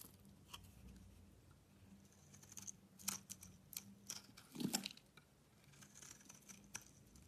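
A box-cutter blade scrapes curly shavings off a solid white bar of soap with a yellow coating, held in the hand. Quiet, bright, crisp scraping strokes come at an irregular pace over a faint low hum, with a louder, fuller scrape near the middle before the strokes soften again.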